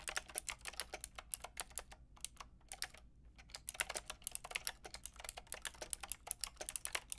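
A Lofree plastic mechanical keyboard with a plastic frame and round keycaps is tapped by fingertips with long red nails. It makes a quick, steady run of bright, clicky keystrokes that stop short with almost no ring, with a brief lull around the middle. A faint low hum sits underneath throughout.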